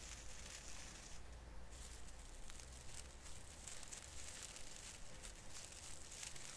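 Fingers grip and rub the branch ends of a small artificial fir Christmas tree with plastic needles, producing a steady, quiet crinkling and rustling with bright, crisp highs. A low, continuous rumble sits underneath throughout.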